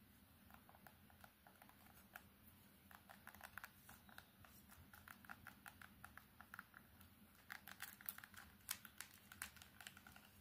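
Long nails tap fast and aggressively on the front and back of an old Samsung keypad phone with a plastic body and silver accents. The result is a quiet, rapid stream of short, bright plastic clicks that patter like typing, with the taps growing louder toward the end.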